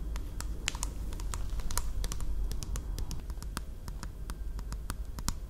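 Long nails tap and scratch the labelled sides of a small plastic Caffè Latte bottle, likely full, held upright close by. Quick, irregular clicky taps with very short bright ticks sound over a steady low rumble, alongside soft scratching.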